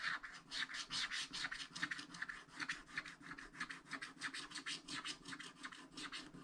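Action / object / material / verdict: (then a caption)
scrape / wax-coated paper scratch-art card scratched with a wooden stylus / coated paper / none. A wooden stylus scratches the black wax coating off a thin coated paper sheet in a spiral-bound scratch-art pad, working in the sky area while the other hand's fingertips hold the bottom edge. Quiet, bright, raspy strokes repeat in a loose, uneven rhythm, each one short and dry with a papery hiss centered around 1.8 kHz.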